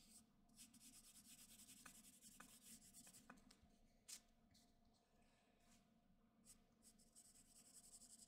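A graphite pencil held in the fingertips makes repeated scratching strokes on the lower part of a drawing on a flat white sheet of drawing paper. The sound is a quiet, bright, airy scratching that rises and fades with each stroke, broken by a few sharp ticks, over a faint low hum.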